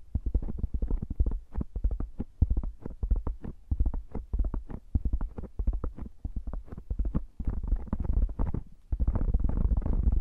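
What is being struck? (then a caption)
Foam microphone windscreen. Both hands rub and squeeze a round black foam microphone cover with fingertips and nails in a fast massaging motion. The result is a rapid stream of deep, muffled thumps and scratchy rustles, almost all low in pitch, ending in a denser, continuous scrubbing rustle.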